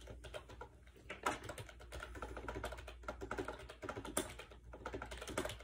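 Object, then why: Plastic keyboard. Fingertips rapidly type on a compact gray plastic AJAZZ 308i wireless Bluetooth keyboard with round keycaps and a hollow shell, resting on a bed. A dense run of quick, light, clacky taps with short decay, a few sharper louder strokes, and a faint low hum underneath.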